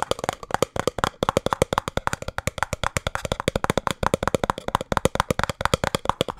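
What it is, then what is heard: Small cardboard box. A small, hollow, printed cardboard speed cube box is held in both hands and tapped fast on its sides with fingertips and nails. About 53 quick, dry, hollow knocks sound in a rapid, uneven rhythm, each with a boxy tone around 500 Hz and no ring. The result is a steady stream of crisp, woody clicks.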